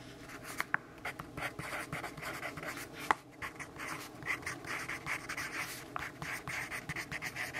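A pencil tip scratches across the page of a lined paper notebook in dense writing strokes. Quiet, bright, papery scratching comes in quick, uneven bursts, with a few sharper ticks where the pencil strikes the page.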